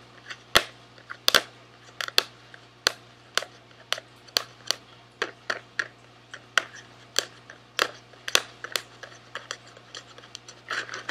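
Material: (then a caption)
Cardboard. A small SweetTarts cardboard candy box is held in the left hand and tapped and scratched with the fingertips of the right hand. About two dozen sharp, bright, dry taps land irregularly, each dying away almost instantly, with soft scratching in between over a faint steady low hum.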